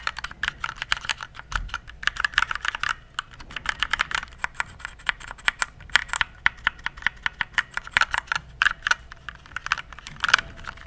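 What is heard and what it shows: Fingertips press the keys of a compact RGB plastic mechanical keyboard in steady typing. About fifty short, sharp clicks sound, each dying away almost at once, with a bright, clacky tone centered near 1.5 kHz and very little low end.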